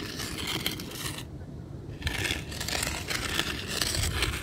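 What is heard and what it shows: Fine gravel and sand ground is scraped and poked with the tip of a weathered wooden stick held in one hand, giving a bright, gritty crunching and scratching. The scraping pauses briefly near the middle before resuming in repeated gritty strokes.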